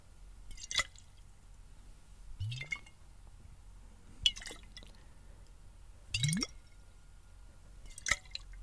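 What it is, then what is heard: Glass bottle partly filled with water. A clear glass bottle partly filled with water is held close to the mic, gripped by the fingers and tilted and shaken so the water sloshes. Five separate bursts come at irregular intervals against a quiet background, each a bright, short slosh with drip-like splashes, and two of them carry a rising low gurgle.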